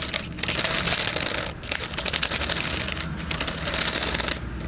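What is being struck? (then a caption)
Hardcover cardboard planner with metal spiral. Fingernails tap rapidly on the back cover of a hardcover cardboard planner with a metal spiral, right next to the microphone ear. The result is a dense stream of dry, bright, clicky ticks with almost no ring, easing briefly near 1.6 and 3.1 seconds before continuing steadily.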